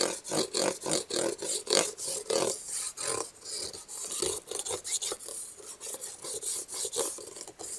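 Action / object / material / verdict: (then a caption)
scrape / small cardboard box / cardboard / none. Red-painted fingernails and fingertips rub and scratch across the flat top of a small, closed, black printed cardboard box of Kubros Halo packaging held in the other hand. About 22 quick, rasping strokes come in a loose rhythm, each a dry papery scrape with a mid-range body and bright, hissy edges. Each stroke stops almost at once, with no ring.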